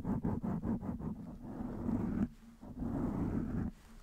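Long nails of both hands scratch quickly over the top and sides of a blue foam windscreen on a black microphone. It makes a dense, muffled, low-mid scratching rush: quick rhythmic strokes at first blur into steady rubbing, which pauses briefly and then resumes before stopping.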